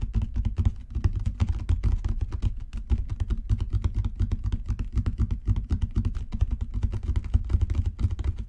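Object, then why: Leather book cover. Fingertips tap rapidly and continuously on a genuine leather book cover for about eight seconds. The taps are soft, dull, low thuds with almost no high-frequency content, and each dies away almost instantly, making a steady muffled drumming patter.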